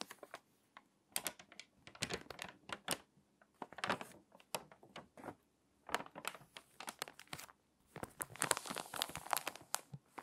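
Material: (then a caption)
Glossy paper. A hand flips a page of an open, water-damaged glossy paper magazine and rubs the crinkly spread flat with its fingertips. Dense bursts of dry crinkling and crackling follow one another in quick, sharp clusters with bright, airy top end and almost no low end, broken by brief quiet gaps.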